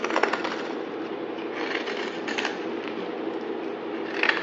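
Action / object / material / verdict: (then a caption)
scrape / solid bar of soap cut with a knife blade / soap / none. A utility knife blade slices and scrapes through a solid yellow-green bar of soap held in the hand, making a steady, crisp crackling and scraping texture with a bright edge. Brief sharper snaps stand out near the start and again near the end.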